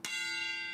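A hammer strikes a steel railway carriage wheel once in a wheel-tapping test, the pre-departure check that listens for a change of note revealing a fracture. The bright, bell-like clang rings with high, sustained metallic overtones that carry through to the end of the clip.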